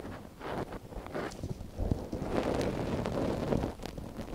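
A long thin wooden stick, held in gloved fingers, scrapes inside the canal of a small soft silicone ear on a binaural microphone. The result is close, muffled rustling and scratching that rises and falls unevenly. It is mostly dull low and mid tones, with faint bright crackles.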